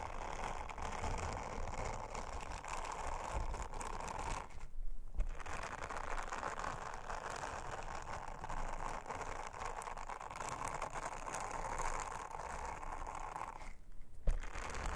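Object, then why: Silicone honeycomb trivet. A round, flat, thin blue silicone honeycomb trivet lies on a table and is rubbed and scratched with an orange silicone bristle scrubber held under long-nailed fingers. The result is a continuous, dense, raspy brushing and scratching texture with a low rumble beneath it. There are brief pauses near 5 seconds and again near 14 seconds.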